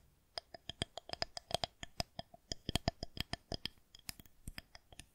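Long nails tap and scratch along a solid white plastic rolling pin held horizontally. About 27 quick, dry clicks come in an uneven run, each with a short hollow ring around 700 Hz and bright high overtones, fading almost at once.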